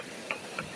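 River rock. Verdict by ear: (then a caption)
Solid. Two sharp taps on a river rock near a hole that looks deliberately drilled, each a short, bright click with a brief ring around 2.5 kHz over a faint hiss. The rock sounds hard and solid at this spot.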